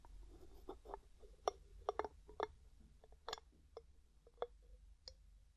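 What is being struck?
Glass jar with metal screw lid.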